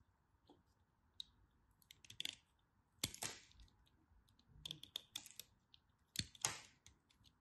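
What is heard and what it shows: A craft knife carves crunchy bits off a small remaining piece of dry cream bar soap held in the fingers. Quiet, bright, crisp scraping crunches come in short irregular bursts, with a few longer rasping cuts, over a faint steady hum.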